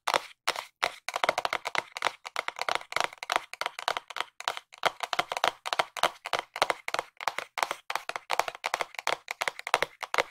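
Long nails tap a small, hollow, white printed cardboard box held in both hands, producing a long run of crisp, hollow clicks in quick bursts with short pauses between them. Each tap is dry and dies away almost instantly, with a papery body near 1 kHz, some bright edge, and no low thump.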